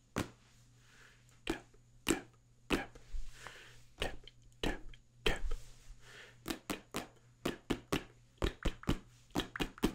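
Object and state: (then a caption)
Paperback book. A small, solid paperback book with a card cover is held in the hand and tapped with the fingertips on its cover and page edges. About twenty short, dry taps come in an irregular rhythm, some in quick clusters, each fading almost instantly over a steady low hum.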